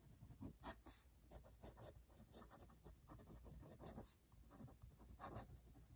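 A hand writes with a metal-nib dip pen on a thin, open cream paper notebook page lying over the solid notebook on a desk beside red wax seals. The nib makes quiet, continuous scratching strokes with short, dry swells over a low background hum.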